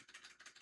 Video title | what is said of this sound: Grading (PSA/BGS/PCG) Comparison. Why Flawless 10 and Pristine 10 is more important than PSA 10. | this one is very obvious. You can feel it, you can hear it